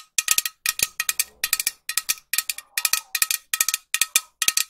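A green metal aerosol spray can, held horizontally near the mic, is tapped with long nails in about eleven quick bursts of two to four taps each, some 25 taps in all. Each tap is a short, bright, high metallic click that dies away almost at once, with little low end.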